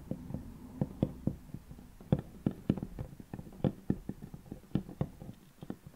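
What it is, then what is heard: Solid wooden tabletop. Long painted natural nails on both hands resting flat on a large, solid wooden tabletop scratch, scrape and tap the wood. A steady run of short, dull, low knocks with almost no ring is threaded with a soft scratchy rasp between them. The sound is quiet and close, and the taps stay mostly low with little bright content.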